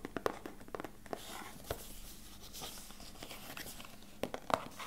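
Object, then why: Small cardboard box. A small, hollow, beige rectangular cardboard box, held in both hands close to the mic, is tapped and scratched with fingertips and short nails. Sharp, dry, hollow taps come in uneven clusters, with soft scratchy rustling between them. The sound is quiet and close, with each tap dying away almost instantly.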